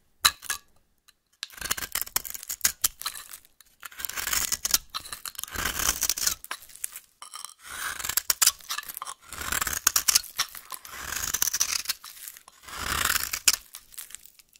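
A solid rectangular pink bar of soap is held in the hand and scraped and carved with a metal blade, peeling off flaky shavings. Bright, dry scraping and crisp crunching strokes come in repeated bursts with short pauses between them.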